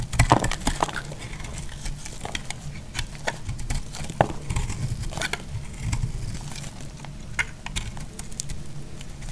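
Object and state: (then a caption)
Bar soap being cut. A solid green bar of soap is cut into flakes with a metal blade, giving a steady run of dry, crisp scraping and crumbling clicks over a low, dull rumble. The many quick, short cuts overlap without clear gaps, and a few sharper snaps stand out near the start and middle.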